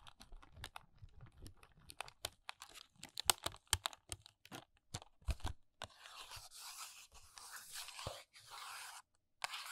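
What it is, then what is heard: Paperboard box tapped and scratched with fingernails. Long nails tap and scratch the sides and top of a small, hollow paperboard press-on nail box with a plastic window. First comes a quick run of dry, sharp taps with short papery knocks. Then it shifts into steady, bright scratching across the surface, ending with a final tap.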